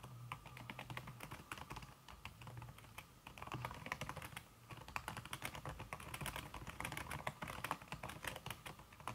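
Fast fingertip typing on a slim backlit aluminum keyboard whose keys are covered by a red silicone skin, struck by fingers with red-painted nails. A dense, steady stream of soft, muted clicks with a bright tick on each keystroke and a low thump underneath, with no ring after each press.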